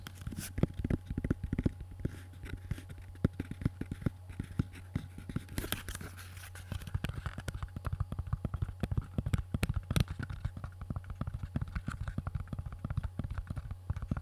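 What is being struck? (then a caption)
Tooled leather gun holster. A small, empty, tan-brown tooled leather gun holster, hollow and stiff, is held close to the microphone and tapped and scratched across its surface with fingertips and nails. The result is a dense, steady stream of quick, dull taps and soft scratches that are heavy in the low end, over a faint constant low hum.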